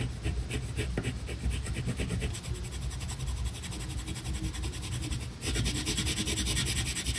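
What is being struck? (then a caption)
Colored pencil on a paper sheet. A tan colored pencil held in the fingers is rubbed hard in short strokes across a flat paper coloring page of a tiger lying on a table. It makes a steady, rapid pencil-on-paper scratching with a dull low rumble beneath a bright, gritty hiss. The strokes grow slightly louder and brighter in the last couple of seconds.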